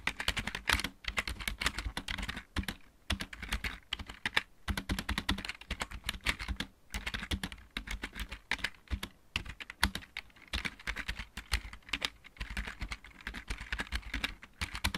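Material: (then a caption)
Plastic. Fast typing with the fingertips of both hands on a full-size backlit mechanical keyboard with plastic keycaps. The result is a dense, steady stream of bright, clacky keystrokes over a low thock, each click dying away almost instantly, with a few brief pauses between bursts.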